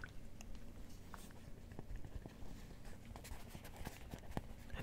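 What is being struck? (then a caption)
Rubber hot water bottle in a fabric cover. A small rubber hot/cold water bottle with a plastic cap, in a pink polka-dot fabric cover, is held in the hand while fingertips scratch and squeeze it. The result is a quiet, steady, low-heavy rustle of fabric, broken by short, dry scratching ticks.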